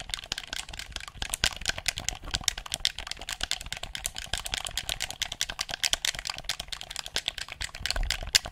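Buttons and triggers on a handheld, hollow black plastic game controller are clicked rapidly with fingertips close to the mic. The result is a dense, continuous stream of sharp, bright plastic clicks with little low end, each one dying away almost instantly.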